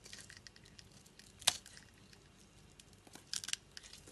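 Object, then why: Glycerin soap bar cut with a knife blade. A utility knife blade scrapes small cubes and flakes off a solid, translucent red-pink glycerin soap bar with a scored surface, held in the hand. Quiet, bright crackling and crisp scraping run throughout, with a sharp snapping crunch near the middle and a short cluster of crisp flicks toward the end. The sound has almost no low end and no ring after each cut.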